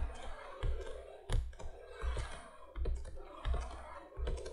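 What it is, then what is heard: Cardboard box. Long fingernails tap on the front of a printed cardboard candolier box lying flat. The result is an irregular series of dull, low thumps with soft clicking edges, each fading quickly against faint background hiss.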